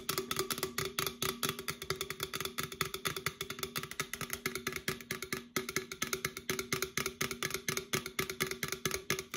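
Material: Aluminum.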